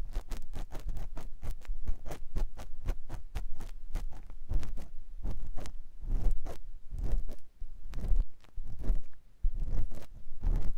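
A clear silicone ear pick scratches inside the canal of a white silicone ear mounted on a binaural microphone block. The result is a close, fast series of short scraping and rustling strokes with a deep, muffled thump underneath, coming in uneven bursts with brief pauses. Some strokes streak up into high, crackly detail.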